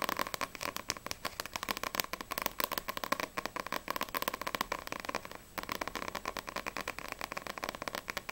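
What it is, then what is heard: Paperback book cover. Long acrylic nails rapidly tap the glossy card front cover of a single Black Butler vol. 1 paperback manga with solid paper pages. The sharp, dry clicks are bright with almost no low end, running as a steady stream with a brief pause about two-thirds of the way through.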